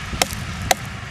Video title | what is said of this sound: 13th January 2024 - Annadata - అన్నదాత - Full Episode - ETV Telugu | తయారైన కాయని గనుక పుచ్చకాయ మీద గనక చేత్తో గనక కొడితే ఆ టంగ్ టంగ్ మని సౌండ్